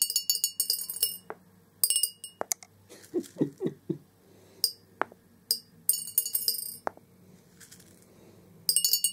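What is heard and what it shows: Orange plastic BB balls are dropped into a large, hollow clear glass jar resting on carpet, bouncing on the glass base and piling up around the edge. Bursts of bright, high glass clinks rattle in quick clusters, mixed with a few short, duller taps, then the clinking settles between bursts.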